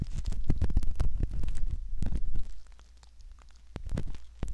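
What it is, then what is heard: Silicone ear model scraped. A curved metal ear pick scratches and rubs inside the canal opening of a soft silicone ear model, heard close up as dense, low rumbling scrapes with sharp crackly clicks. The scraping is busy and loud for the first half, then drops to quieter, sparser rubs with a few clicks before rising again near the end.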